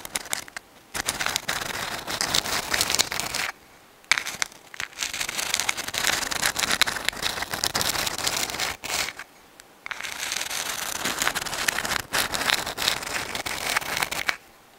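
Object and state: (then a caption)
Sand dollar shell. A dried white sand dollar, a palm-sized, thin, flat and hollow calcium carbonate skeleton held in both hands at the microphone, is scratched with long acrylic nails. The result is a bright, dry, crackling scratch in sustained bursts, separated by brief pauses of near silence.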